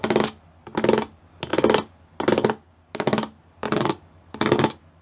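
Fingertips and nails tap and scratch across a flat grey plastic sheet covered in rows of small raised square pyramid studs. There are seven short bursts of dry, clicking, crackly scraping, each a bright rattle over a midrange body, separated by brief near-silent pauses.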